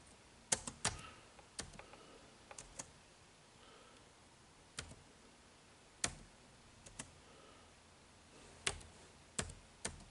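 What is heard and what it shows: Fingertips press and tap the keys of a dark plastic chiclet keyboard on a silver HP laptop, whose hollow body with a grey plastic, metal-look deck lies flat on a table. Sparse, irregular typing taps make short, bright plastic clicks that die away almost at once, with quiet gaps between them.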